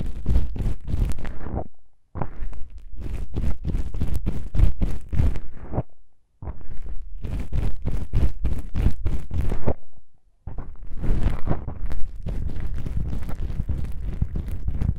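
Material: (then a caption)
Foam. Long pink-painted nails scratch two small black foam windscreen covers on a binaural microphone, giving close, dense bursts of scratchy, crunching rubs heavy in the low end. The scratching comes in three long runs broken by short silences.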